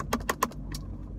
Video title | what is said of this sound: 7 Things I Hate About My Dodge Charger | it's not just that it's hard plastic, but it's like cheap hard plastic